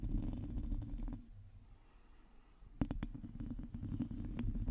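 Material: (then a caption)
Metal mesh. Long nails of both hands scratch the sides of a black microphone's hollow, domed metal mesh grille, making a dense, low rumbling scrape. The scratching fades to near quiet for about a second and a half, then returns with sharp rasping strokes.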